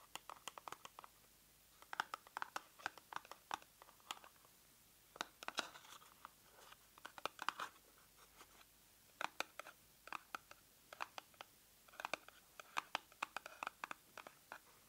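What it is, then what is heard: Cardboard product box. A small, hollow, pink printed cardboard cosmetic box, likely holding a product, is held in both hands and tapped and scratched with long manicured nails. The result is quiet, dry, crisp clicks and scratchy rasps in quick bursts, with brief pauses between clusters. The sound is bright, with no low end and no ring.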